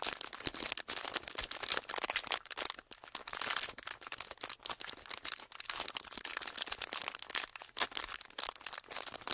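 A thin, flexible sheet of clear ridged plastic packaging is held in both hands and crinkled and pressed with the fingertips. It makes a steady, dense stream of sharp, bright crackles and crinkles with almost no low end. Each snap dies away at once.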